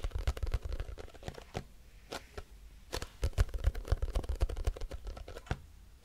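A grey, squeezable plastic cosmetic tube with a crimped end, likely filled, is tapped with long nails. The result is a run of quick, dry, irregular clicks and taps with a low thud under them and almost no ring, sometimes bunched close together and sometimes spaced apart.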